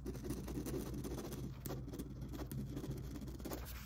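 A grey multi-pen's ballpoint tip scribbles and scratches quickly across a flat, thin, pale green paper page lying on a cutting mat, while the other hand holds the sheet still. The result is a quiet, continuous, dry scratching rustle, weighted toward low tones, with brief brighter streaks as the tip drags across the paper.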